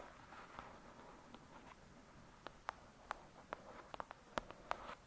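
Long acrylic nails tap and scratch the cover of a thick, solid "Lady Midnight" paperback book lying flat. Eleven quiet, sharp clicking taps ring out over a soft, papery scratching hiss, growing denser toward the end.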